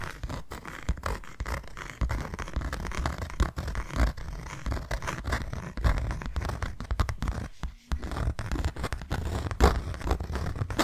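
Long nails scratch and tap rapidly across the face of a closed, hand-sized white cardboard box. The result is a dense, steady run of dry scratches and short, dull taps with a heavy low thump, broken by a brief silence near the eight-second mark before the scratching resumes.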